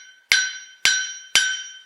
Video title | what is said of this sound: Enclumes | tout de suite ça sonne un peu comme une cloche